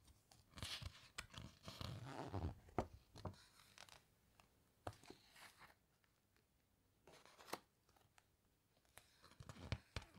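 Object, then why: Hardcover book with glossy paper pages. Long nails and fingertips press, rub and turn the glossy pages of a large open hardcover book. Irregular bursts of bright, crinkly paper rustling and swishing sweeps mix with sharp nail clicks and soft low thumps as the pages settle. Quiet pauses fall between the bursts.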